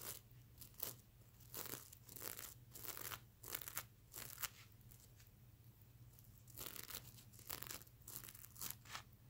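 Fingernails scratch across a soft stuffed mermaid unicorn plush pillow covered in reversible plastic sequins, flipping the sequins back and forth. Bright, crisp, crunchy scratching bursts come in irregular strokes over a faint steady low hum, with a quieter pause in the middle before the scratching resumes.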